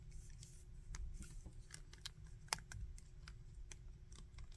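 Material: Plastic.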